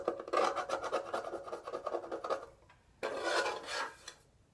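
Fingernails scratch and rub the black back panel and casing of a small, hollow pink metal twin-bell alarm clock as it is held and turned over. A dry, rasping scratch with a hollow midrange tone runs for over two seconds in quick, uneven strokes, fades briefly, then returns in a louder, brighter burst of rubbing before trailing off.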